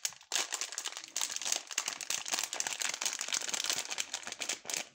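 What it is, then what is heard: Plastic foil candy bag. A small green printed plastic foil bag of Fruit Perfect Match gummy candies, full of gummies, is held, crinkled, squeezed and turned over by gloved fingertips, with other sweets lying unused on a wooden table. After a brief quiet start, a dense, bright, continuous crinkling of foil fills the clip, with many sharp crackles and almost no low end.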